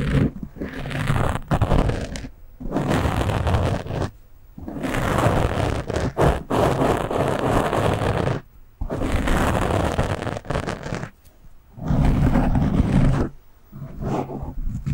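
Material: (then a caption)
Foam. Fingers scratch, rub and cup a black foam windscreen on a microphone, making dense, scratchy rustling with a heavy low rumble. The sound comes in fast and slow bursts separated by brief quiet gaps.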